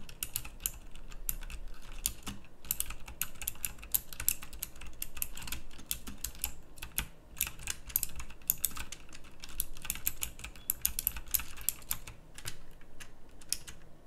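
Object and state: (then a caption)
Mechanical keyboard with round plastic keycaps, typing. Fingertips type steadily on a full-size backlit pink mechanical keyboard with round plastic typewriter-style keycaps. The keystrokes come as a fast, dense run of short, bright, clicky clacks that stop almost at once, over a faint low rumble.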